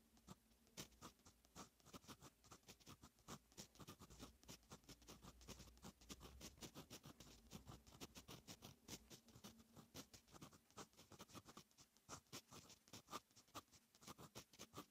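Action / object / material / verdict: scrape / metal pen nib on lined notebook paper / paper / none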